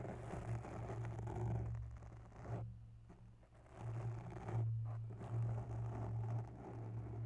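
Long bare nails scratch and tap a grey foam microphone windscreen up close. The result is a soft, muffled, bass-heavy rustling with a steady low hum, fading into quieter pauses around the third and fifth seconds before the scratching swells back up.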